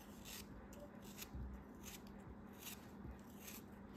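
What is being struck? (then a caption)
Kinetic sand block cut with a metal knife. A metal knife blade slices and scrapes across the surface of a solid, hand-held purple kinetic sand block. Soft, gritty scraping comes in repeated bright, hissy bursts over a low, steady rumble, and stays quiet throughout.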